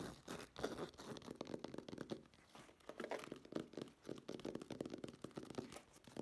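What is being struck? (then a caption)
Fabric-covered case, woven nylon. Long nails scratch and tap the textured surface of a black woven nylon fabric-covered case held upright. A quiet, dense run of short, crinkly scratches and soft taps follows, with most energy in the low-mid range and each stroke dying away almost at once.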